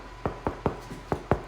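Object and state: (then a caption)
Baked-through sourdough loaf, hollow. Five quick knocks on the bottom of a freshly baked, still-hot sourdough loaf just out of its loaf pan, checking whether it is done. Each knock is a short, dull thud that dies away almost at once. The loaf sounds hollow, showing it is baked through.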